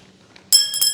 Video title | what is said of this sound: Avios - Grand Tundra 2 - 1700mm - Unbox, Build, & Radio Setup | Because if it's carbon fiber, it sounds like metallic.